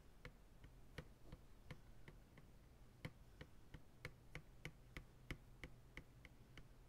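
Slow fingertip taps on the rim and sides of an empty, hollow white plastic ice cream pail resting upright on a lap. About nineteen short, dry clicks land at an uneven pace, each with a bright, hollow plastic tick that dies away almost at once. A steady low hum sits underneath.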